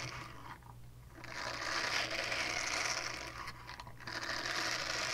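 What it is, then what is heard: Silicone scrubber pad being scratched. A small, flat, solid purple silicone scrubber pad with a hanging loop and a textured bristle face is held in both hands in front of a fluffy mic and scratched with long dark-painted nails. The result is a bright, dense, rasping scratch with a faint low hum underneath. It eases off briefly around the first and fourth seconds, then resumes.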